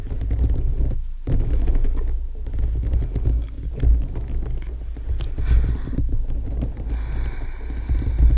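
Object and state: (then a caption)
Rhinestone-studded foam microphone cover tapped with nails. Long acrylic nails tap and scratch across a dome-shaped foam microphone windscreen densely studded with small multicolored plastic rhinestones. The close contact produces a steady, muffled low rumble and throbbing hum around 109 Hz, threaded with quick soft clicks. The sound briefly drops out near the one-second mark and gains a faint brighter scratchy edge toward the end.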